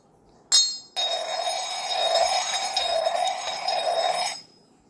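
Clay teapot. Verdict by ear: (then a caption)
Fine clay. An old-clay Yixing zisha teapot of 320 ml is tapped and clinked, giving a sharp, bright clink followed by about three and a half seconds of continuous high, metallic ringing and chiming before it stops. The crystal-clear, metal-like ring is taken as a sign of fine, high-mineral clay and a high-quality teapot.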